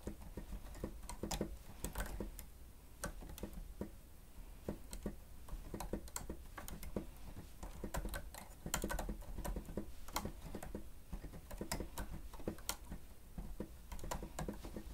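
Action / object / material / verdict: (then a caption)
tap / plastic stenotype keyboard / plastic / none. Fingertips of both hands press and tap the keys of a grey plastic stenotype keyboard with a hollow housing while typing. Quiet, irregular clicks and soft taps patter steadily with short, dry decays over a low hum.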